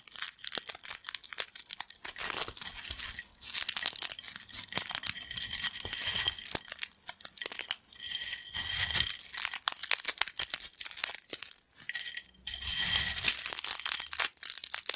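Fingertips crumble crispy yellow thin corn chip fragments on a black plate in close-up. Dense, bright crackling and crunching runs throughout, with sharp snaps and dry crinkles that stop instantly and carry almost no low end.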